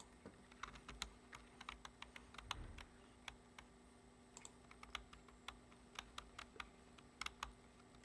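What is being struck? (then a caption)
Plastic computer keyboard. Fingertips press and tap the keys of a low-profile black plastic computer keyboard resting on a wooden desk in a typing motion. About thirty quick, dry, bright clicks come in irregular bursts over a quiet, steady background, with one brief low thump midway.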